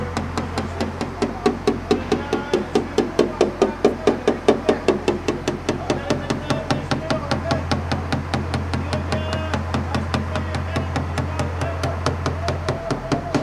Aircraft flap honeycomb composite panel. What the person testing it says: A solid sound means no damination has taken place. A soft sound indicates a damaged area.